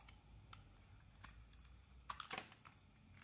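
A metal blade scrapes and carves slices off a red and white solid bar of soap. Faint, soft ticks over a low, quiet background build to a quick cluster of sharp, crisp, bright scrapes near the end, then fade back to near silence.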